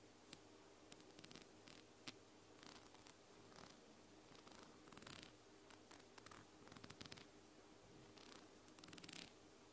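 Long blue nails tap and scratch the white ribbed plastic dropper cap and clear bulb of a small amber glass bottle held sideways. Sharp, bright clicks and short scratchy bursts come in irregular clusters over a quiet, steady low hum. Each tap stops almost instantly, with no ringing.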